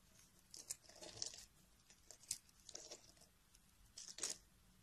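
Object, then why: Solid bar of soap. A metal carving blade scrapes thin slices and crumbs off the edge of a solid beige bar of soap held in a hand with long nails. The result is a series of quiet, dry, crisp scraping and crunching bursts, mostly bright and high with almost no low end.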